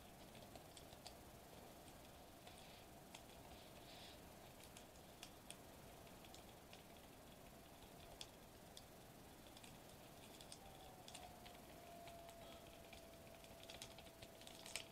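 Fingertips and nails tap quickly on a flat silver metallized plastic bubble wrap sheet lying on a white table. The result is soft, quiet, bright ticks and crinkly patters over a faint steady low hum.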